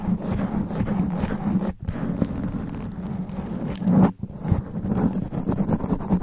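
Long black nails scratch fast and hard across a sponge foam microphone windscreen, producing a dense, low rumbling scrape with a strong boomy hum around 200 Hz. Brief silent gaps near 1.8 and 4.1 seconds break up the continuous scratching.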